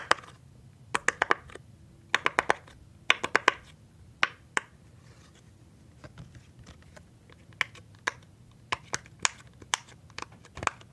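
Fingertips press and pop the hollow bubbles of a rainbow silicone pop-it fidget toy sheet. The result is a series of sharp, bright little pops with a hollow tone near 1 kHz. They come in quick clusters and single taps, separated by quiet pauses, and each one stops almost instantly.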